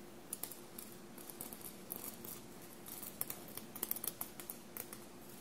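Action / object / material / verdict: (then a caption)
scrape / cotton shirt with metal sequins / sequins, cotton / none. Long blue-painted nails tap and scratch the bunched navy cotton shirt covered in small silver paillettes, producing about a dozen quiet, crisp clicks and scrapes with bright, sparkly edges. The sounds are dry and stop instantly, over a faint steady low hum.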